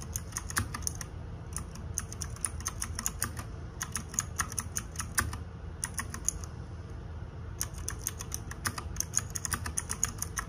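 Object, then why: Plastic-keycap mechanical keyboard. Fingertips and nails type rapidly on the plastic keycaps of a small RGB-backlit 60% mechanical keyboard. Bursts of sharp, bright clicks come in quick runs separated by short pauses. A steady low hum sits underneath throughout.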